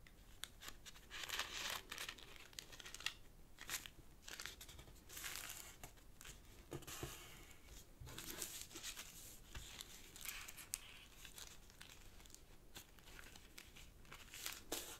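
Fingertips fold a thin, folded sheet of purple origami paper on a black cloth table and rub the creases flat. The result is soft, bright crinkling and papery rustling with frequent quick crackles and short scraping swipes. It stays quiet throughout, with a few slightly louder crisp snaps.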